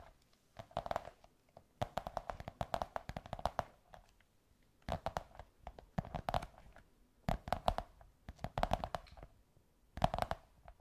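Long white nails tap and scratch a beige kraft cardboard tube in quick bursts of taps. The hits are short and dry, with a hollow, muted resonance around 700 Hz. Quiet pauses fall between the clusters.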